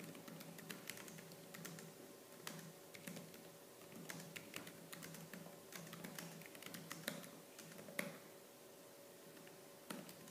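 Fingertips with purple-painted nails type quickly on the black plastic keys of a laptop keyboard. A rapid, irregular stream of sharp, bright clicks stands out over a faint, steady low hum.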